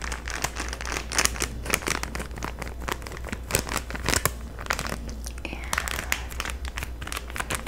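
A flat Halloween banner in a clear plastic bag with a paper header card is held up in both hands while long manicured nails crinkle and squeeze the plastic packaging. Dense, bright crinkling and sharp crackles run throughout, with short louder snaps over a steady low hum.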